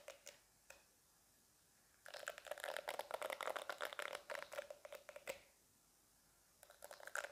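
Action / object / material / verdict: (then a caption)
scrape / silicone facial cleansing brush / silicone / none. Fingertips and nails scratch and tap across the soft silicone bristles and body of a small, solid, pink handheld silicone face-cleansing brush held close in both hands. A few light taps give way to a dense run of crisp, crinkly scratching with a bright upper edge. After a quiet pause, a shorter burst of scratching returns at the end.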